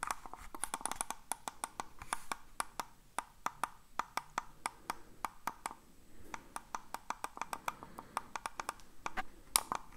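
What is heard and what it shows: A hollow black plastic computer mouse is held in the hands and tapped and clicked with fingertips and nails. Dozens of short, dry, bright clicks and taps come in quick, uneven bursts, each dying away almost at once over a soft background hiss.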